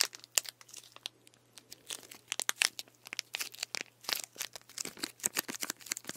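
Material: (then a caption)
Plastic. A full plastic sports drink bottle of green liquid with an orange cap is held in one hand while fingertips tap and scratch the plastic and its crinkly label. The result is a quick, irregular stream of crisp, bright clicks and crackly rustles, each dying away at once, over a faint steady low hum.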